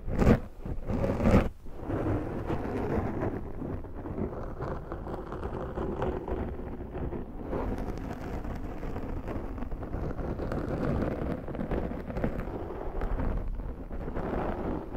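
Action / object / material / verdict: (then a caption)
scrape / foam microphone windscreen / foam / none. Long nails of both hands scratch over the top of a large round black foam windscreen on a Zoom microphone. Two louder rough bursts open the clip, then a steady, dense, muffled scratching rumble continues, heavy in the low end with almost no bright content.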